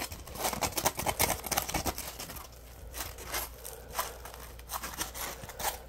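A yellow, palm-sized solid polymer foam Scrub Daddy sponge is held in both hands while fingers squeeze and scratch it. The result is a quick, irregular run of dry, crinkly scratching bursts with bright, hissy edges over a low steady hum, busier in the first half and then sparser.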